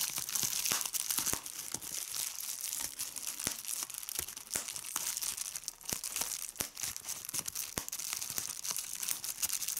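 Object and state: Plastic bubble wrap being popped.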